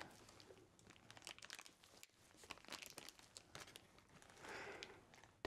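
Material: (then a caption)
Plastic. Black-gloved fingers crumple and crinkle a small, empty clear plastic snack wrapper with a blue and orange label. Quick, dry, bright crackles come in irregular bursts with no ring, swelling into a softer sustained rustle near the end before a sharp louder crackle cuts in.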